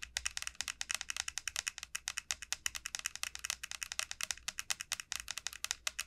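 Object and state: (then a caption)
Dried bottle gourd, dry hard shell. Long nails tap quickly across the hard, dry shell of a large hollow dried bottle gourd resting on a felt mat. About 49 crisp, bright clicks come in a fast, uneven patter, each one dry and short with almost no ring and very little low end.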